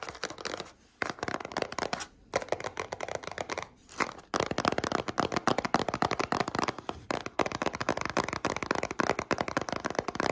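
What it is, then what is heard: Cardboard cereal box. Long nails rapidly tap and scratch a small printed cardboard cereal box, likely partly full, making dense, dry papery clicks and crinkly scrapes. The bursts come in quick runs separated by a few brief pauses.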